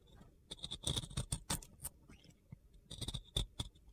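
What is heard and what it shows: A box cutter blade scrapes and carves a solid, round soap coated in pink glitter, its dry, crumbly surface giving way in a series of short, gritty crunches. Each scrape carries a bright, high-pitched edge over a low thud, with quick, close bursts separated by brief, quiet pauses.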